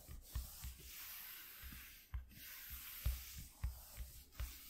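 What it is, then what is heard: Corrugated cardboard, scratched. Fingertips and short nails scratch along the surface of a flat white corrugated cardboard sheet lying on black cloth. The sound is a steady, dry, sanding-like rub with a faint bright hiss, broken by soft low thumps as the fingers press and drag across the ridges.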